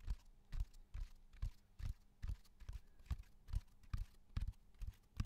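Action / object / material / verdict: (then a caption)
tap / cork bark slab / cork / none. A flat, solid natural cork bark slab about 30 cm long, with a rough textured surface, is tapped and drummed with fingertips and nails close to the microphone. The result is a loose, uneven run of soft, dull, low thuds that die away almost instantly, with a faint quiet hum between them.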